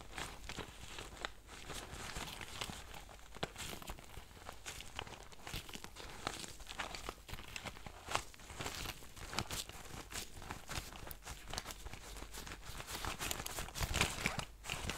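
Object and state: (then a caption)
Faux leather pencil case. A small, soft-sided lilac faux-leather zippered pencil case is held, rubbed and squeezed by nitrile-gloved fingertips. The result is a steady stream of soft crinkling and scratchy rubbing, broken by frequent quick crackles and light taps. The sound stays fairly quiet, with a low rumble underneath and bright, hissy texture on top.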